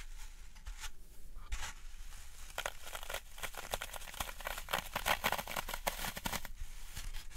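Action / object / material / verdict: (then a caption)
scrape / floral foam block / phenolic foam / none. A large rectangular block of solid, porous green floral foam (phenolic foam), held in both hands above a wooden tray, is pressed into and scratched by fingertips and long nails. It gives a steady run of crisp, dry crunching and crackling bursts, bright and scratchy, growing denser and louder toward the middle before thinning out near the end.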